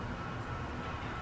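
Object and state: Nothing is struck.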